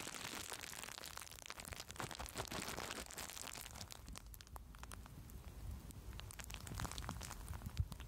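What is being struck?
Plastic bubble wrap.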